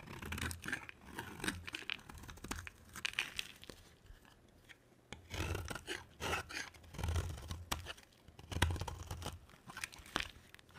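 A box cutter blade carves a solid, palm-sized bar of dry white soap, with flakes piling up. Crisp, crunchy scraping and tearing strokes come in quick bursts over a dull low rumble, with a quieter pause in the middle before the carving resumes.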